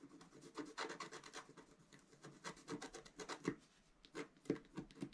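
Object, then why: Black-coated scratch art paper scratched with a wooden stylus. A flat, black-coated scratch art paper sheet about A4 in size lies on a table, held flat by one hand, and is scratched with a pointed wooden stylus. Continuous short, dry scratching strokes rasp across the surface in quick bursts, with bright, papery friction over a soft low body.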